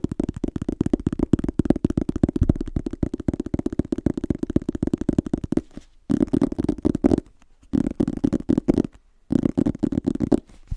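Fingertips and nails rapidly tap and scratch the front cover of a small, solid red illustrated hardcover book held upright. The result is a dense, irregular patter of short, dull, low-mid knocks and scrapes, broken by a few brief silent pauses in the second half.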